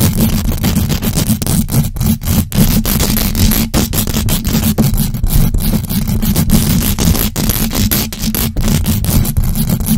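Long acrylic nails on both hands scratch fast and aggressively across the hollow metal mesh grille of a large black USB microphone. The result is a dense, continuous scraping roar, heavy and boomy in the low end, with brief dropouts between strokes.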